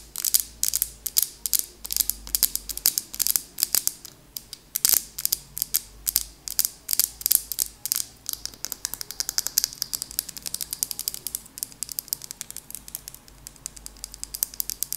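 Long acrylic nails tap rapidly on a medium glass candle jar with a glass lid and a purple label that looks full of wax, held in both hands. The taps are crisp, high, clicky ticks with almost no ring, spaced at first and then quickening into a dense, steady patter.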